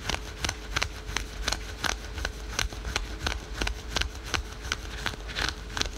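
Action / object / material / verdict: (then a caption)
scrape / spandex/polyester stretch leggings / synthetic fabric / none. Fingernails rapidly scratch patterned spandex/polyester yoga pants worn over the knee, rasping across the printed stretch fabric. About 18 quick, bright, scratchy strokes repeat at a loosely uneven pace over six seconds, each one cutting off almost instantly with a soft low rumble underneath.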